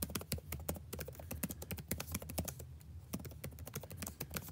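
Fingertips type steadily on a backlit laptop keyboard with plastic keys, producing a quick run of short, crisp clicking taps. The taps have sharp, bright attacks that die away almost instantly, over a steady low hum.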